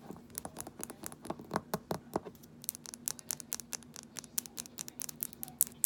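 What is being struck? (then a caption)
Small glass dropper bottle with paper label and plastic cap. Long nails rapidly tap and scratch a small amber glass rosehip oil bottle with a paper label and a black plastic dropper cap, held in hand and standing on a table, striking both the labeled glass body and the cap. The result is a quick, uneven patter of dry, bright clicks with no ringing, mixed with soft scratchy rasps over a faint steady low hum.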